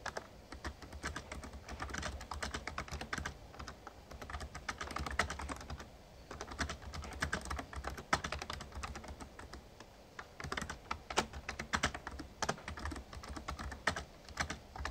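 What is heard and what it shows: Fingertips type steadily on a full-size, backlit plastic Razer Ornata Chroma membrane gaming keyboard resting on a desk. The result is a dense run of soft, short clacks with a mid-range tap around 1.3 kHz and some brighter clicks, over a steady low hum.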